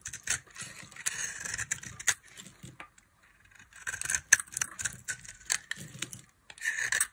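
A box-cutter blade cuts into a solid, dry tan bar of soap, and flaky chips break away. Bursts of bright, dry scraping and crisp crackling come in uneven clusters, with short pauses between them.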